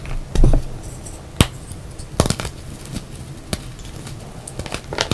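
A solid pale yellow reformed gym chalk block is snapped and crumbled in both hands, then fingers crush and rub the dry powder and pieces in the pile. A dull, low crunch opens the clip, followed by sharp dry snaps and crackles scattered over a soft, steady rubbing hiss.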